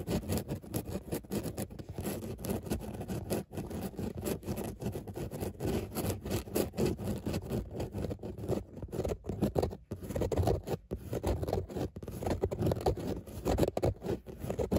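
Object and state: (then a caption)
Fabric car seat with raised dots. Long nails scratch over grey textile car seat upholstery with raised embossed dots, making a steady, dense, dull rasping scrape. The sound is busy and low-mid heavy, with quick scratch strokes running almost continuously and little high brightness.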